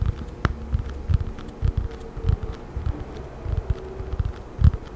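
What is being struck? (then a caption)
Paperback book with glossy paper cover. A thin children's paperback with a blue and yellow glossy paper cover and a solid paper block is held in both hands and tapped and scratched with long nails. Short, dull, low thumps sound in an uneven rhythm with a faint scratchy rustle between them, and one sharper click stands out near the start.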